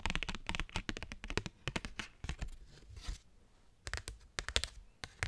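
A thin cardstock paper postcard is tapped and scratched with fingernails, giving rapid, sharp, dry clicks and bright papery crackles. A brief soft rustling stretch breaks up the tapping before it resumes, and the postcard is waved at the end.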